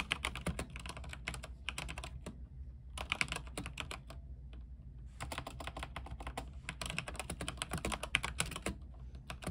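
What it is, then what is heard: Mechanical keyboard being typed on. Both hands type rapidly with their fingertips on a backlit mechanical keyboard with white plastic keycaps on an aluminium frame, producing dense bursts of short, bright, sharply clacking keystrokes. Typing pauses briefly around the two- to three-second mark and again from about three and a half to five seconds, then resumes fast, while a steady low hum runs underneath throughout.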